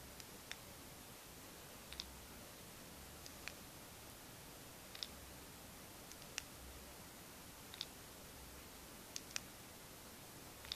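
A single slim plastic paint marker, Molotow-style and about 12 cm long, hollow and filled with paint, is held upright in the fingertips and shaken while a row of other markers lies still on the table. The mixing ball inside gives about 15 quiet, sharp, bright rattling clicks, often in close pairs at irregular intervals. The clicks stand over a faint steady hiss.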